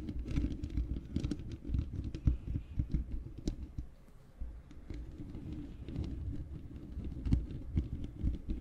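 Long fingernails scratch the bare black metal mesh grille of a large hollow microphone. The result is a dense run of close, low, rumbling scratches and soft taps with brief bright clicks. The sound stays mostly deep and muffled, with a quieter stretch near the middle.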